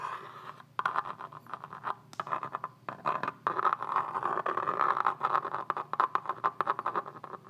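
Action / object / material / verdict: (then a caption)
scrape / plastic rifle magazine / plastic / none. A pen-like pointed tool is drawn across the ribbed side of a hand-sized tan polymer rifle magazine held in one hand, a hollow hard-plastic body. It makes a steady, dense scratching in short uneven bursts, with rapid ticks as the point catches the ribs and a bright, papery rasp centered around 1 kHz. The scraping runs continuously throughout, with brief dips between strokes.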